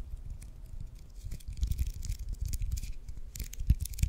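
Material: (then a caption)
Leather. Fingertips and nails scratch and tap the white leather cover and red stitching of a solid regulation baseball held close to the microphone. The result is irregular, dry scratching and tapping, with soft low thumps under brief bright scraping bursts that die away almost instantly.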